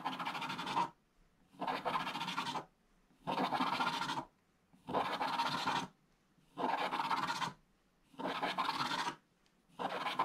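A thin wooden stylus held in the fingers scratches a flat scratch-art book page, black coating over gold foil, lying open on a table, while a hand also sweeps across the page. Seven evenly spaced bursts of dry, bright scraping, each about a second long, alternate with near silence, and the last one is cut off at the end.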